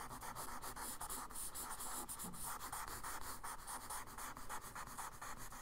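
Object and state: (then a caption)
Charcoal scratching on kraft paper. A charcoal stick tip scratches and scribbles short, rough strokes across a kraft paper sketchbook page. The sound is a steady, dry, gritty rasp with a quick, uneven stroke rhythm, strongest in the mid range with a bright, hissy edge.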